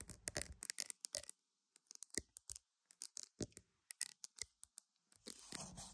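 Pearls are tapped and scratched, giving a quiet, rapid series of short, bright clicks with brief pauses between bursts. The clip ends in a steadier, scratchy rustle.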